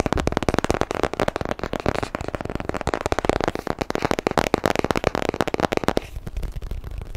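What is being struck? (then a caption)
Small cardboard box. A small, rectangular, white cardboard product box, hollow and likely empty, is held close to the microphone and tapped and scratched with short bare fingernails. Rapid, crisp, dry taps and papery scratches crackle in dense bursts for about six seconds. The sound then gives way to softer, quieter scratching at the end.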